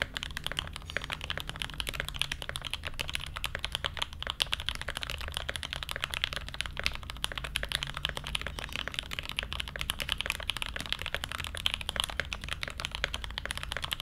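Fingertips type steadily on a mechanical keyboard with blue ABS keycaps and a brass plate, producing a fast, dense run of short, bright clicky keystrokes. Each strike is crisp with almost no ring, over a low hum in the background.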